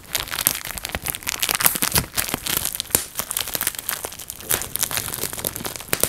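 A clear plastic bubble wrap sheet is held in the hands while thumbs and fingertips pinch and pop its air bubbles, with slight folding of the sheet. A rapid, irregular stream of sharp, bright pops and crisp crinkling plastic is heard, each snap short with almost no ring.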